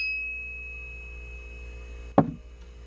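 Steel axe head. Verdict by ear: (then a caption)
Ringing. The steel head of a new-old-stock 1961 Russian trapper's axe, still caked in Cosmoline, never sharpened, with a big eye and a metal wedge, is struck. A clear high ring from the head fades slowly at the start, then a single sharp strike lands near the end. The head rings.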